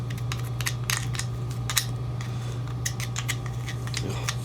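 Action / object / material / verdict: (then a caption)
shake / metal lawn mower carburetor part / metal / dirty. A carburetor part from a push mower is shaken by hand before going into an ultrasonic cleaning bath, giving a run of quick, bright rattling clicks over a steady low hum. The rattle shows the part is full of dirt and debris and needs to go into the cleaner.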